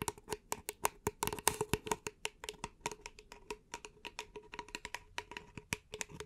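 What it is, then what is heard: Paper cup tapped with fingernails. Long nails tap rapidly on the side of an empty, upright beige paper cup held in both hands. About 35 quick, dry, hollow clicks follow in an uneven stream, each with a short papery tone near 900 Hz and a bright edge. The taps die away almost instantly, with no ring.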